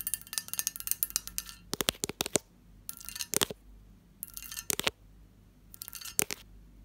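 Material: Glass.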